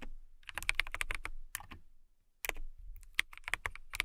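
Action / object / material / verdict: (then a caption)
tap / acrylic mechanical keyboard / acrylic / none. Long nails type on the clear keycaps of a transparent acrylic mechanical keyboard. The result is bursts of quick, bright, clicky taps with a soft low thump beneath them. A short pause near the middle separates the bursts.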